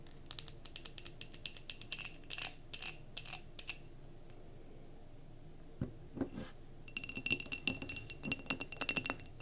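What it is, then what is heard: Glass jar candle filled with wax. Long nails rapidly tap and scratch a glass mason jar candle filled with solid wax as it is held and then set down, giving a run of bright, sharp glassy clicks with a faint ringing tone. After a quiet pause, a few low thuds mark the jar being set down. A dense burst of quick tapping and scratching follows.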